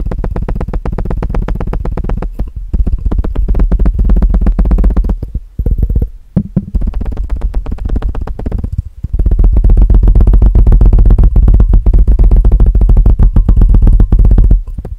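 Fingertips tap rapidly on the sides of a clear, empty, hollow plastic measuring jug with red markings, which sits upside down over the microphone. The fast, dense taps make deep, booming, hollow thuds with almost no high end. They break off in brief pauses, then turn louder and steadier toward the end.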